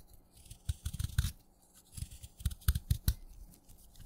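A craft knife cuts chunks off a solid wet yellow-green chalk stick held in the fingers, with crumbs falling away. Two bursts of quick, soft, crunchy cuts, dull and low with a faint bright crackle, are separated by brief pauses.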